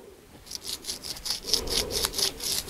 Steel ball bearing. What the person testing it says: Der er gået lidt rust i det her det knaser lidt